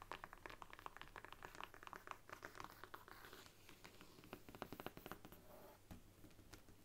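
Long nails tap and scratch along the embossed brown faux leather spine of a thick faux-leather-covered Bible standing upright. Quick, dry, clicky taps mix with soft scratchy rubbing, each sound dying away almost instantly. The taps come in fast flurries over a low, steady hum, and the whole sound stays quiet throughout.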